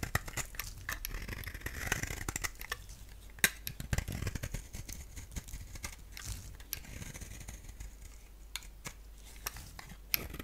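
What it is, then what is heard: Bar soap being shaved. A utility blade shaves thin curls off the face of a solid lilac soap bar with a thin black rim, held in the palm. Quiet, dense, crisp scraping and clicking cuts follow one another rapidly, with a few sharper snaps standing out. The cuts have a bright, dry texture and almost no ring.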